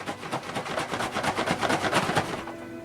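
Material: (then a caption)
Cardboard, aluminium. A black cardboard box, 13 x 8 x 5 inches and about 13 pounds, holding 15 cans of beer, is shaken. Its contents make a series of dull thumps and clunks with a faint metallic rattle, about 2.5 seconds of repeated knocking that then stops.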